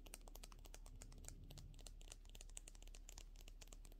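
Long natural fingernails tap rapidly along a slim, hollow, pen-sized white plastic makeup brush handle with a metal ferrule and pink bristles, held in both hands. The taps make a quiet, steady stream of bright, crisp clicks with short decays, over a constant low hum.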